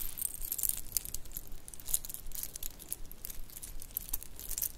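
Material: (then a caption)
Shell. A shell and bead bracelet with metal spacers is rubbed between the hands and scrunched in the palm. It makes a continuous rattling, crinkly jingle of quick, bright clicks that die away instantly, over a soft low background rumble.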